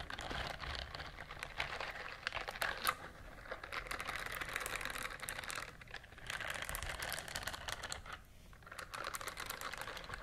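A pink silicone bristled glove is moved between the microphones and scratched with long nails and fingertips. The result is a dense, continuous patter of fine scratchy clicks and soft rubbery rustles, mostly in the mids and upper mids. It has brief quieter pauses near 6 and 8 seconds.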